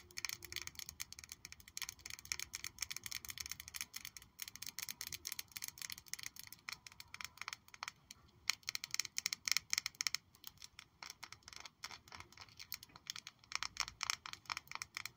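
A small clear glass perfume bottle with a bow-shaped cap and pale pink liquid inside is held up in both hands and tapped and scratched with long nails. Rapid, dense, bright clicking taps mix with thin scratching, each tap dry and very short with almost no ring or low end.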